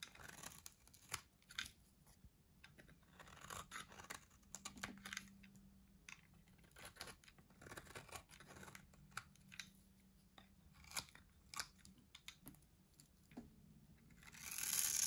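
A solid, dry white soap bar held in the hand is shaved and carved with a metal box-cutter blade, producing a quiet series of crisp, bright scraping and crunching strokes at an uneven pace. A faint low hum runs underneath, and the clip ends with a louder, hissy rise.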